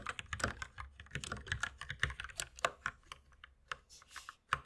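Two hands type steadily with the fingertips on a compact white mechanical keyboard with plastic keycaps. The result is a quick, uneven run of short, clacky keystrokes with bright, dry clicks that die away almost at once. A soft, airy rustle shows up briefly near the end.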